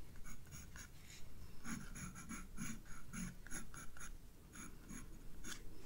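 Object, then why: Graphite pencil on a paper sketchbook page. A graphite pencil scratches and shades flower petals on a page of a spiral paper sketchbook lying flat on a desk. Quiet, dry scratchy strokes repeat in short bursts, each with a low papery rasp and bright, hissy edges that fade quickly.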